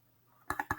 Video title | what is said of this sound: Summer Mandalas | If I tap it, you can hear it's made out of foam.